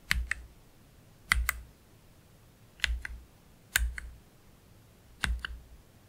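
One hand slowly presses individual keys with its fingertips on a black Keychron K3 Pro low-profile mechanical keyboard with plastic keycaps and Gateron Red low-profile switches. Five spaced keystrokes are heard, each a quick pair of short, bright clicks over a soft low thump, with quiet pauses between them.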